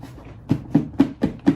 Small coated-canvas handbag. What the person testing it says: if you tap it, you hear that? It is pretty durable.